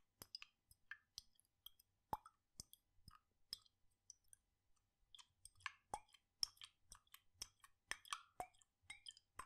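A glass jar with a red lid, partly full of blue liquid, is tilted and shaken in one hand so the liquid sloshes inside. About twenty quiet, irregular wet plops and small bright clicks follow one another, each short and dry with almost no ring.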